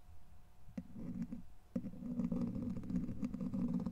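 A clear plastic rod-shaped handle, held by the fingertips, is rubbed and scratched across the hollow domed steel wire-mesh grille of a large microphone. Dense, low rumbling scrapes rise up in rough bursts, with a short pause near the one-second mark before the scratching returns louder and more continuous.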